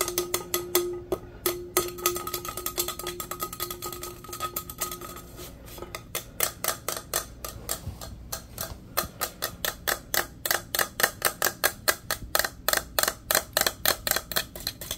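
Fingernails tap fast on a hollow, teal powder-coated steel insulated tumbler with a straw lid. For the first six seconds the taps come in a dense, rapid flurry over a faint steady metallic ring. They then become evenly spaced, sharp, bright clicks that die out almost at once.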